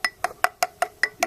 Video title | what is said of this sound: VID00013 | You can hear that's hollow.